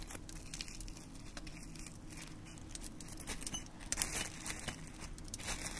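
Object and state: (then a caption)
Dried rose petals, dry. Fingertips pick up dried red rose petals from a pile in a small white dish on a wooden stand and crumble the dry petals between the fingers. Soft, brittle crinkling and crackling rustles continue throughout over a steady low rumble, with a few sharper, brighter crackles around the four-second mark.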